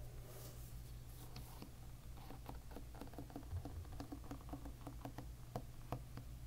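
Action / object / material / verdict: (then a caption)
flick / plastic-pin hairbrush / plastic / none. A fingertip flicks across rows of thin brown plastic pins on a plastic-pin hairbrush lying bristles-up, making rapid, quiet clicking. The short, dry ticks rise and fall in a loose run over a steady low hum.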